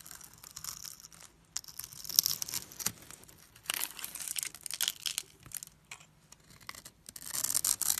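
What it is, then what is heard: Soap bar scraped with a blade. A solid rectangular yellow bar of soap, pre-scored in a grid, is held in the fingers and scraped and carved with a metal blade so small cubes crumble off. Bright, dry scraping and crisp crumbly crackles come in uneven bursts with short pauses between them, with almost no low end. Each scrape stops dead with no ring.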